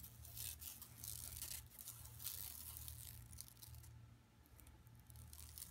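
Long nails scratch and tap across a flat, empty yellow woven plastic mesh tote bag lying on carpet. Bright, dry scratching bursts come in quick uneven strokes over a steady low hum. The scratching thins to lighter taps near the end.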